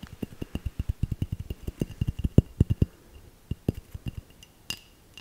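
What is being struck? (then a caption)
Small glass bell ornament tapped with fingernails. A small hollow glass bell ornament, held in the hand, is tapped with long nails in a quick, fairly steady run of short clinks for about three seconds, then a few slower, sparser taps. Each tap is a brief, low, dull knock with a faint, thin glassy ring near 2.7 kHz that dies away almost at once. A final tap near the end gives a brighter, slightly longer ring.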